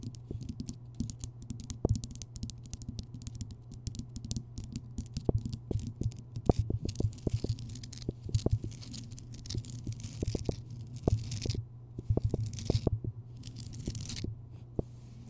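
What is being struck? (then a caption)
Rock salt lamp. Long nails tap and scratch across the rough, crystalline surface of a large, solid, lit Himalayan rock salt lamp. Dense, sharp little clicks and brief scrapes pile up over a steady low hum, with bright, airy scratching textures between the taps.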